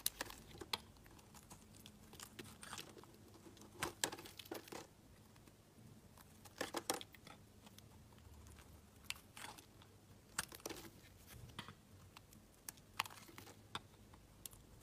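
A solid pink marbled soap bar, held in the hand, is shaved with a utility knife blade, and thin curls peel off onto a pile of shavings. Quiet, crisp scraping and crinkly cuts come in short bursts, with bright, brief clicks scattered over a low, soft background.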